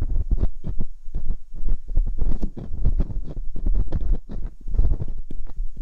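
Metal dental picks scrape inside the canals of silicone binaural microphone ears. This produces a dense run of muffled, low thumping and rustling scrapes that come in quick, uneven bursts with a deep rumbling body. Each burst fades quickly.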